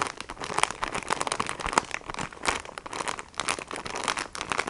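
A plastic-wrapped sponge pack is held in both hands while fingernails tap and scratch across its clear and printed plastic. The result is a dense run of quick, crinkly taps and rasping scratches, bright and papery with almost no low end, each tap dying away instantly.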